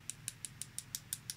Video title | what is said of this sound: Charmouth Beach Treasures | you tap it against your teeth and you can tell the difference between glass and plastic